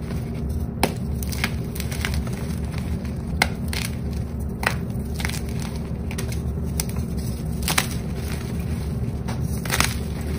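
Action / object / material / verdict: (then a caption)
scrape / block of gym chalk (magnesium carbonate) / magnesium carbonate / none. Fingertips press, crush and rub chunks of purple-dyed gym chalk (magnesium carbonate) into powder, next to dark-coated chalk blocks. A steady low rumbling crunch runs throughout, with sharp, bright crackles and snaps scattered across the clip as pieces break apart.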